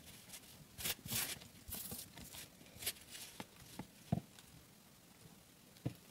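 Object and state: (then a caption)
Wheat flour dough. Bare fingers squeeze, crumble and rub a large heap of crumbly, floury raw wheat dough on a dark metal plate, breaking it apart, and the dough may brush against the plate. Soft, bright crackling and rustling bursts come with short dull taps. The sound fades to near quiet as the hands pull away.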